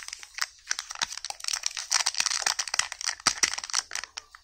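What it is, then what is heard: Foil-wrapped chocolate egg. Fingertips and short nails pick, rub and peel at the crinkly red printed aluminium foil wrapping a small hollow chocolate egg held in both hands. The result is a steady, bright, dry crinkling with rapid sharp crackles and tearing snaps, and almost no low end.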